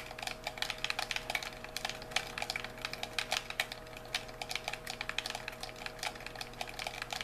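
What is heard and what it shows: A white, hollow plastic handheld game controller is held in both hands while thumbs and fingertips rapidly press and click its buttons and sticks. The result is a quick, irregular stream of short, dry, bright plastic clicks and taps, each dying away almost instantly. A faint steady low hum runs underneath.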